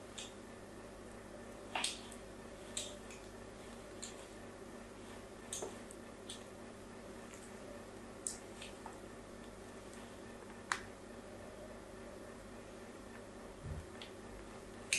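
A blade scratches crosshatch lines into the corner of a solid pink soap bar held in the hand. Short, bright, scratchy ticks come at uneven intervals and die away almost instantly. A quiet, steady low hum sits underneath.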